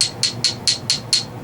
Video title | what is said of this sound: New GoPro Charger and a GoPro Hack! | it's like that stone. That stuff is hard.